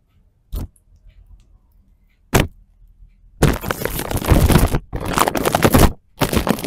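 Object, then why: Plastic cling film stretched over a microphone. Fingertips and short nails from both hands scratch and rub thin, clear, dry, clean plastic cling wrap stretched over a small microphone resting on a wooden floor. Two brief crackling scrapes come first, followed by a dense run of bright, crinkly rubbing with a low thumping undertone, broken by two short pauses.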